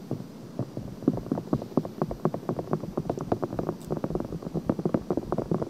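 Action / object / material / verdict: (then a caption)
scrape / silicone binaural microphone ear / silicone / none. Long painted nails rapidly scratch the outer ear of a pale pink silicone binaural microphone. The result is a steady stream of short, dry, rustling scratches, mostly low to mid in tone, coming about twice per second in an uneven rhythm over a faint hiss.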